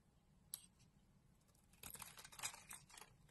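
A utility knife blade scrapes and carves flakes from a solid green bar of soap embossed "Malizia" held in the hand. A single sharp, bright tick comes first, followed after a pause by a denser run of quiet, crisp, crackling scrapes that continue to the end.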